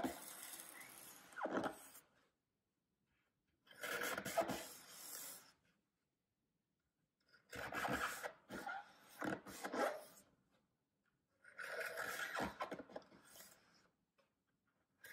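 A thin knife draws long slicing cuts through a solid green floral foam brick held by hand. Four separate passes of dry, scratchy rasping are heard, each lasting about two seconds with brief silences between them.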